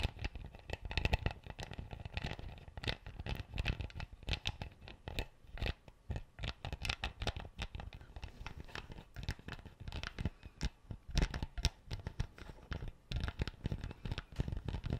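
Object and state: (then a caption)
Plastic bottle cap. A plastic screw cap on an empty clear PET bottle is scratched and twisted with fingertips and nails. It makes a dense, continuous run of quick dry scratches, clicks and crinkly ticks over a heavy low rumble, with no ring after each touch. The texture holds steady throughout, with brief quieter gaps.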